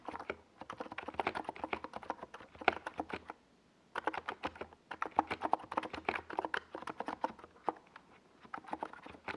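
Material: Plastic.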